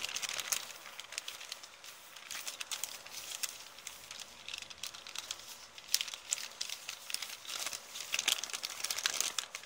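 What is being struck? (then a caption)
Kraft paper shopping bag. An empty kraft paper shopping bag with blue print is held up, waved and crinkled by hand, producing a continuous stream of dry, bright crackling and rustling. The sound is thin with no low end, and sharper crinkle bursts stand out over steady papery noise throughout.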